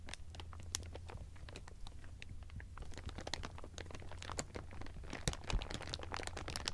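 Hands squeeze and crumple bunched, thin clear plastic sheeting, producing a dense stream of sharp, bright crinkles and crackles. A steady low hum runs underneath throughout the clip.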